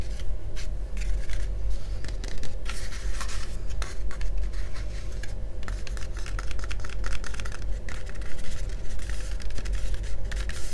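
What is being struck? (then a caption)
Hard plastic face mask. Fingertips and nails of both hands scratch and tap the sides and front of a hollow, glossy yellow hard-plastic face mask worn over the face. Dense, bright scratching bursts and quick clicky taps sit over a steady low hum throughout.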